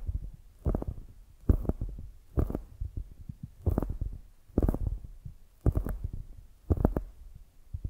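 Long nails scratch along the top edge of a solid polyurethane foam squishy donut in close-up. Repeated soft, muffled scraping strokes come in regular bursts, each with a deep, low rumble and a faint brighter edge, separated by quiet, crackly gaps.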